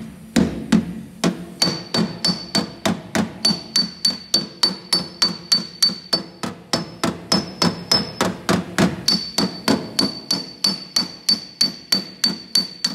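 A steel body hammer with a wooden handle taps rapidly on a bare, sanded sheet-steel car quarter panel with weld spots, a thin hollow panel, while a dolly is held behind it. About 41 quick, sharp metallic taps come at roughly 200 per minute, each with a hollow low-mid body and a short bright ring. A faint high metallic tone lingers through much of the tapping.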